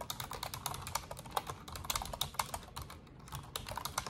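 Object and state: Plastic computer keyboard.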